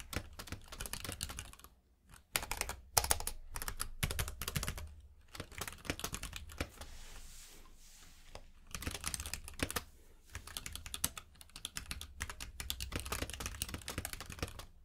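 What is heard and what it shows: Both hands type with their fingertips on a compact mechanical keyboard with plastic keycaps, producing rapid bursts of sharp, bright clicks and clacks. The typing stops briefly a few times and quiets for a stretch near the middle, over a steady low hum.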